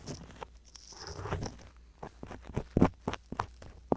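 A wooden-handled ear pick with a thin metal tip scratches and scrapes inside the ear canal of a soft silicone ear on a hollow white binaural microphone body, held in hand, working around the black mic capsule. Close, muffled crackling and crinkly rubbing build into a longer scraping stretch, then break into a run of short, dull taps and scrapes with little high sparkle.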